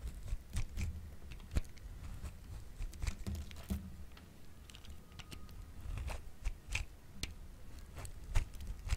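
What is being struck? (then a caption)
Bar of soap scraped with a metal grater blade. A hand-sized, solid yellowish bar of dry soap, held in one hand, is shaved with the metal-bladed slot of a grey-green plastic grater tool in repeated scraping strokes. The strokes make quiet, dry, crackly scrapes with brief bright clicks over a low rumble. Shavings pile up on the white surface.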